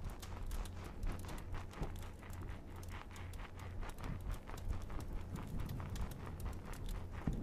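A small, soft, dry-looking rectangular green porous cellulose kitchen sponge, held close to the microphone, is squeezed and scratched with fingertips and ringed fingers. The result is a steady run of quick, crackly scratching and squishing sounds with a low, muffled body. The scratches come at a loose, uneven rhythm.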